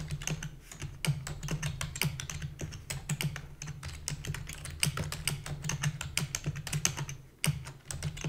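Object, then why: Plastic computer keyboard. Fingertips with long natural nails rapidly type on a black full-size plastic computer keyboard with hollow key housing. A dense stream of short, bright plastic clicks and taps rides over a steady low hum, with a brief pause near the end before the typing resumes.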